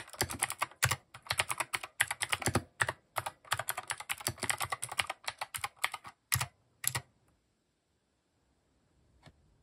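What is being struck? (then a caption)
Mechanical keyboard with plastic keycaps. A compact mechanical keyboard with plastic keycaps and RGB underglow is typed on with steady fingertips, giving a fast run of bright, clicky keystrokes with short thocky lows. Bursts continue for about seven seconds, separated by brief pauses, then stop, leaving near silence broken by one faint late tap.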